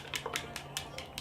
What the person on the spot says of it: you can hear like this little ball in there like a little metallic ball to help make sure the products mix together